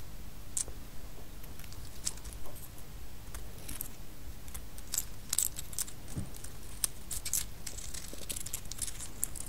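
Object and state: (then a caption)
Pistachio shells. A small handful of light, hollow, empty pistachio shells rests in an open palm while the fingertips of the other hand stir and rub them. The shells click against each other in scattered, sharp, bright ticks over a steady low background rumble.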